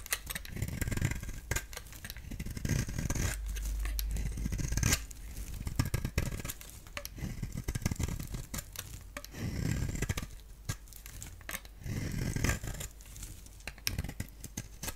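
A utility blade shaves curls off a hand-sized solid bar of soap with a black outer layer and a lilac core. Repeated scraping strokes come in bursts, with dry, crackling scrapes and sharp clicks over a low rumble. Brief high, bright flicks of the blade fade almost instantly.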